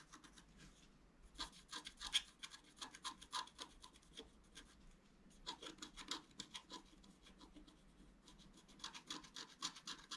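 A pointed wooden stylus scratches the black coating off a flat, roughly A4 scratch-art paper sheet showing a fountain picture, lying on a table while the other hand holds the sheet steady. Quick, dry, bright rasping strokes come in clustered bursts, with a calmer stretch of lighter scraping in the middle. The sound stays quiet throughout.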